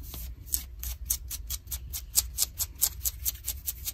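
Long nails scratch light blue denim jeans on the leg near the seam, making a run of about fifteen quick, bright, rasping strokes at an uneven pace. Each stroke is short and dry, with a steady low rumble underneath.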